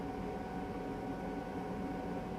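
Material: Nothing is struck.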